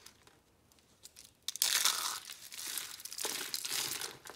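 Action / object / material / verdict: scrape / dried soap curl roses / soap / none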